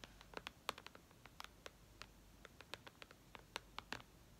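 Long red nails tap and lightly scratch the glass screen of a white iPad lying flat. About 22 quick, crisp clicks with bright, sharp ticks ring off almost instantly over a faint hiss, some louder than others, in an irregular rhythm.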